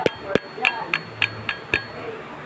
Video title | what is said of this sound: biyak makina yamaha fz | hawakan nyo rito sa dulong to, pukpukin nyo. Ayan. Kumakalog.